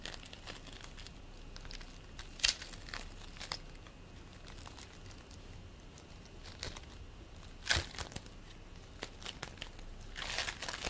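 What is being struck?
Bead play foam.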